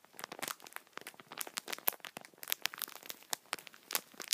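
Fingertips and thumbs press and rub the top of a multipack of tissue packets wrapped in plastic film. The plastic gives a quick, dense run of sharp, bright crinkles and crackles with no low end, each dying out almost instantly.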